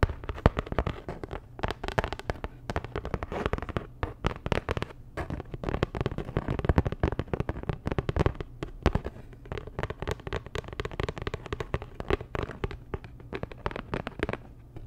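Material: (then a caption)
Cardboard. A flat, postcard-sized printed cardboard Dior packaging card, held up in both hands, is tapped rapidly with long nails. It makes a dense, continuous stream of short, dry clicks and crackles over a soft, low-heavy thump, with each tap dying away almost at once.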